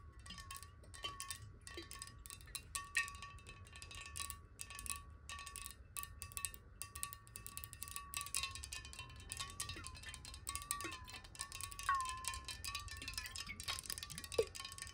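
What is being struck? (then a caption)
Glass water bottle with water. A clear glass water bottle, held horizontally and partly filled with water, is tapped rapidly with long nails. The result is a dense stream of quick, bright clinks over a ringing glassy tone that wavers in pitch as the water shifts, with a faint low rumble underneath.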